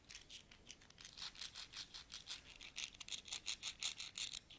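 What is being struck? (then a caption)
Pile of metal coins. Fingertips with nails rummage through a large pile of solid metal coins, picking them up and rubbing them together. Quiet, bright metallic clinks and scrapes come in uneven bursts, about three per second, each with a short, sharp ring centered near 3.6 kHz and almost no low end.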